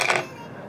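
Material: Papier-mâché.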